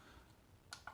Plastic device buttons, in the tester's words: au niveau des boutons ça sonne assez creux